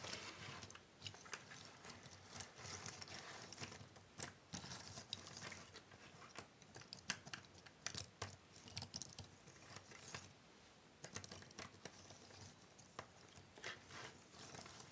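Flat hands with long nails tap, rub and shuffle a large pile of small, thin cardboard jigsaw puzzle pieces on a wooden table. The result is a quiet, steady stream of crisp clicks, rustles and patter that is bright and high-leaning. There is a brief lull around the eleventh second.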